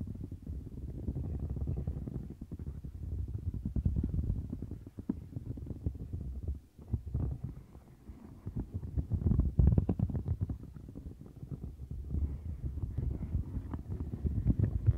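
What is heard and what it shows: Long nails rapidly scratch the bristles of a light blue silicone textured scrubber mat. The result is a dense, muffled, low rumbling scratch made of fast, uneven strokes, with almost nothing bright in it. It swells and dips in loudness over the clip.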